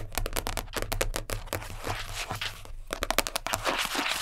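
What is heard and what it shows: Long nails tap quickly and scratch across the surface of a round purple plastic container lid, which lies flat and is then held. Rapid, bright clicking taps mix with crinkly scraping over a steady low hum, with a brief lull before a final burst of fast tapping.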